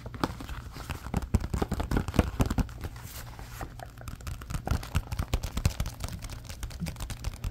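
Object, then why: Softcover paper activity book. A softcover SpongeBob coloring and activity book with paper pages is held in both hands while fingertips flex, rub and flip the pages. The result is a dense run of short, dry crinkles and rustling snaps over a steady low rumble, with a few louder crackles in the first half.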